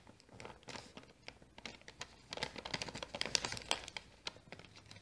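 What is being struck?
Small kraft paper bag.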